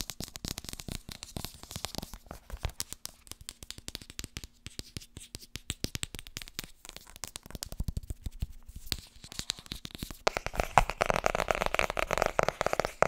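Fingertips tap rapidly on the hardcover book 'Vertrouw me, ik ben een verkoper', making a dense stream of short, dry, clicky knocks with almost no ring. Around the ten-second mark the tapping grows louder and fuller, with a brighter, busier texture until the end.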